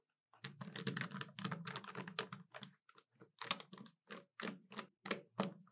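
Long nails tap the keys of a hollow black plastic desktop calculator and the plastic edge near its display. A dense run of quick, bright clicks over a low hollow thump gives way to slower, separate taps, each dying away almost at once.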